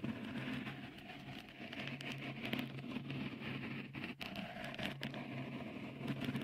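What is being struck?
Textured silicone microphone cover.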